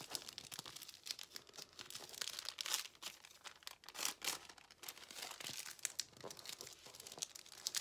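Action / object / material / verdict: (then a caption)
scrape / thin paper sheet / paper / none. A thin, flat, empty white paper sheet is folded and crinkled with red-painted fingertips on a white table, with scissors lying nearby untouched. A dense, continuous stream of bright, dry crinkling and crackling comes through, with almost no low end and short, quickly fading snaps.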